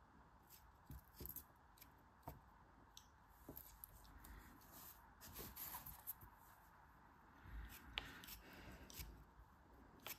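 A utility knife blade slices and scrapes thin crumbling layers off a small, solid cube of beige kinetic sand held in the fingers of a hand with long red nails. The result is quiet, crisp, gritty crunches and short sharp clicks over a soft, grainy scraping hiss with bright high-end crackle, each cut dying away almost instantly.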